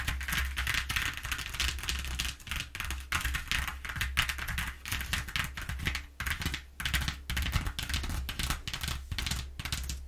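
Long nails of both hands tap and scratch rapidly across the exposed ridges of a flat corrugated cardboard sheet. It makes a dense, fast run of crisp, dry clicks and bright scratchy rasps, each dying away almost instantly, over a steady low hum.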